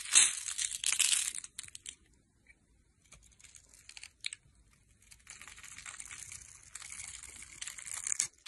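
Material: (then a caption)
Soap. A metal blade scores a solid teal rectangular bar of dry soap, held in the hand, into a grid and scrapes off small sticks and cubes. A loud, bright, crisp crackling burst opens the clip, then a quiet gap and a few scattered scratches. A steadier run of dry, high scraping carries through to the end.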